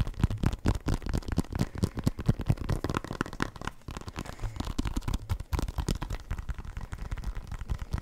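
A full-size black and white synthetic leather soccer ball, hollow and inflated, is held near the mic and tapped and scratched with fingertips and nails. Quick, irregular dull thumps, deep and boomy with almost no ring, run continuously with soft scratching between them.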